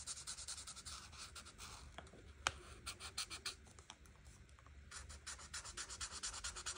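A marker tip scratches and rubs over a flat paper coloring book page while coloring the leaves. Quick back-and-forth strokes make a soft, bright, hissy scratching that comes in rapid bursts, eases into a quieter stretch midway with one sharp tick, then speeds up again.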